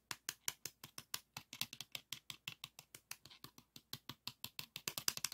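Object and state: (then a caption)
Plastic floppy disk tapped. Fingertips and nails tap and scratch the paper label and back of a single pink 3.5-inch floppy disk with a hard plastic shell and metal hub, held in the hand. About 36 quick, dry, bright clicks sound in a steady rapid series, each dying away almost instantly with almost no low end. The tapping is quiet and grows slightly faster and denser near the end.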